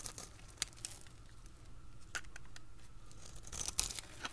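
A utility blade scrapes and cuts thin, crunchy layers from a dry, solid, translucent yellow oval soap bar held in the hand. Crisp, bright crackling and scraping come in uneven bursts with a few sharp snaps, over a low steady background rumble.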